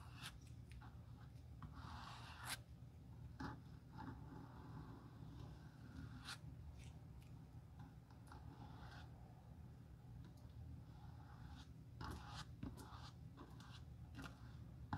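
A bristle glue brush is stroked over the solid, dark-stained leather outsole of a pointed shoe with red edges, held in a gloved hand. Soft scratchy brushing strokes come in short bursts with brief bright accents over a steady low hum, each stroke dying away almost at once.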